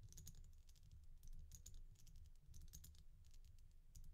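Long nails tap and scratch the fronts of the glossy red-and-black oval beads on a resin bead stretch bracelet held upright in the hand. The result is a quiet run of quick, bright, dry clicks and ticks with very short decay, over a steady low rumble.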